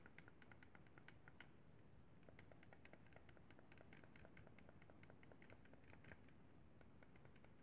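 Fingertips tap and click the buttons and sticks of a hollow white plastic Xbox 360 controller. A quick, steady run of light, dry clicks and taps, each short and bright, sits over a low, constant background rumble at a quiet level.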